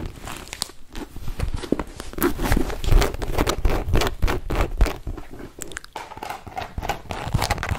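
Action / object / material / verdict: scrape / small leather zip wallet / leather / none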